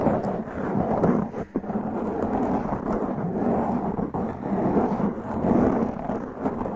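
Long press-on nails grip and scratch a black foam windscreen on a large condenser microphone. The result is a dense, muffled rumbling crackle concentrated in the low-mids with almost no high end, sounding much like thunder or heavy rain. It runs continuously at a steady loudness with only brief dips.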